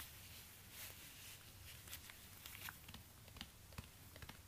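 Fingertips in orange rubber gloves tap and scratch the suede upper and sole of a black suede high-heel ankle boot standing on a stand. Soft, bright scratching rustles run under a steady low hum, broken by several short, sharp taps that die away almost at once.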